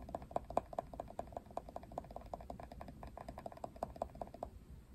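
Fingertips and nails scratch and tap the plastic pin bristles and handle of a plastic paddle hairbrush with pink trim. The result is a quiet, rapid, steady run of short plastic clicks, each with a faint ringing tone around 690 Hz, over a soft scratchy rustle.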